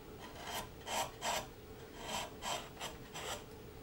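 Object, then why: Basswood carving blank pared with a flat chisel. A long flat chisel scrapes and pares along the body of a solid basswood carving blank for a Santa Claus figure held in the hand. About seven short, dry rasping strokes come in an uneven rhythm, each a bright scratchy burst centered near 1 kHz over a quiet background.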